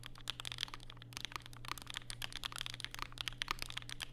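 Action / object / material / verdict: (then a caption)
tap / mechanical keyboard with plastic keycaps / plastic / none. Fingertips type rapidly and continuously on a compact black Vega mechanical keyboard with plastic keycaps and Durock POM switches, set on a desk mat with a white wrist rest. Quick, bright, dry clacks follow one another with almost no ring, over a steady low hum.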